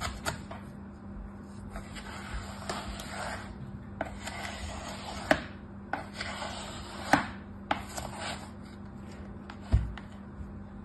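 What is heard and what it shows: A red plastic knife cuts and slices squares through packed beige kinetic sand in a mint-green plastic tray, then fingertips with orange nails lift out a cut piece. Soft, gritty crunching and rubbing swells with each stroke, punctuated by sharp clicks of the knife against the tray over a faint steady low hum.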